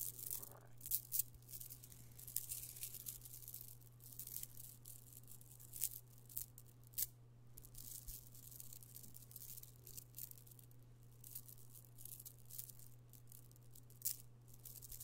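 An amethyst stone chip bead necklace, a pile of small solid purple stone chips on a strand, is held in the palm, gathered, rubbed and poured with the fingers so the chips rattle. Dense, bright clicking and scraping rattles run throughout, with sharper bursts now and then. A steady low hum sits underneath the whole time.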